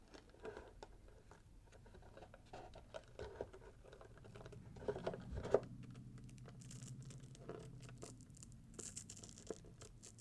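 Fingertips and nails scratch at the gold glitter ribbon and bow and across the red swirl-patterned paper of a small, hollow, gift-wrapped cardboard box. The result is a quiet stream of soft scratching, crinkling and light patter, with a few sharper taps.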